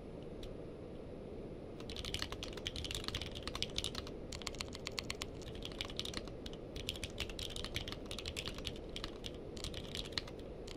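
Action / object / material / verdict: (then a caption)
tap / mechanical keyboard with plastic keycaps / plastic / none. A purple-case mechanical keyboard with plastic keycaps is typed on with the fingertips of both hands. After nearly two seconds of low, steady hiss, a rapid, continuous stream of short, bright plastic clicks begins and runs to the end over the constant background noise.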